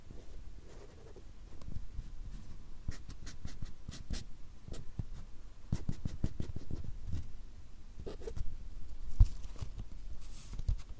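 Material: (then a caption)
Paper. A fine black drawing pen makes scratching strokes across a small, solid stack of white paper or card held upright. The result is a quiet, steady run of short, dry scratches with brief brighter strokes that fade instantly.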